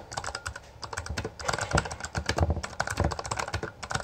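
Both hands type continuously with their fingertips on a Bloody B820R, a full-size black plastic mechanical gaming keyboard with backlit keycaps and a hollow housing, pressing and striking the keys. The result is a rapid, irregular stream of short clacks, each dying away almost at once, with a hollow low thump under a bright click and louder bursts as the typing speeds up.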